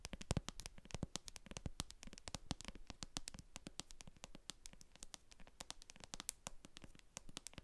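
Long acrylic nails tap and scratch the bottom of a translucent plastic cosmetic jar full of white cream, across the barcode sticker on its base. The result is a quick, steady stream of short, dry clicks, each with a bright top, over a soft, low scratching rustle, and no hit rings on.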